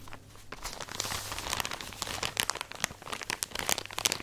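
Long nails scratch and tap across a full plastic drawstring package of cotton pads. The result is a dense run of bright, crisp plastic crinkles and sharp clicks over a soft rustling bed, with almost no low end and no ring after each tick.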